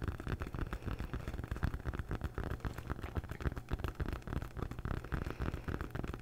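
Long nails scratch the textured surface of a large rolled-up red foam yoga mat held upright. The result is a rapid, irregular run of dull, low, rumbling scrapes with very little brightness.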